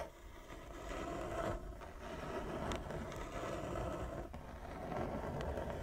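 Long nails scratch back and forth across a large, flat wooden chess board with inlaid squares. The result is a steady, rough scraping texture, mostly low and mid in tone with little bright content, and brief dips where the strokes change direction.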